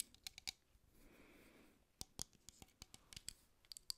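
Long acrylic nails tap and scratch along a red Intesa Schiuma da Barba aerosol shaving foam can, with a hollow aluminium body and dark plastic cap, held in one hand. A few sharp, bright clicks give way to a soft, hushed scratching, then a quick run of crisp, dry taps. The taps are quiet, high, and stop instantly with no ring.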